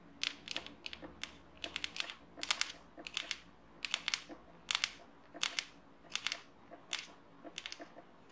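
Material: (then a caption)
Plastic. Long painted nails scratch and tap along the barrel of a small, hollow, yellow-and-black plastic highlighter pen held in both hands. The result is a quiet series of crisp, bright clicks and brief scratchy bursts, clustered in quick groups with short pauses between them. Each sound dies away almost instantly and has almost no low end.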